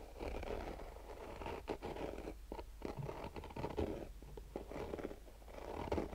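Fingernails scratch slowly across a black nylon-mesh, fabric-covered rigid hard-shell sunglasses case. The result is a quiet, dull, rasping scratch with mostly low and mid tones and very little brightness. It comes as a steady run of strokes with brief pauses and a few slightly louder swipes.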